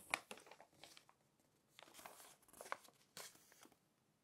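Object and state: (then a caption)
Glossy paper magazine. Fingertips crinkle, rub and turn the pages of an open glossy paper magazine. Quiet, dry crackling and swishing bursts sit mostly in the bright high range with almost no low end, each dying away almost at once. Louder crinkles stand out near the start, in the middle and past the three-second mark.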